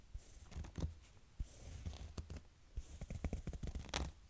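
Fingernails scratch across a small cream corduroy fabric backpack with zippers. Soft, uneven rasping strokes with bright scratchy edges ride over dull low thuds. The scratches come in short irregular bursts, getting busier toward the end.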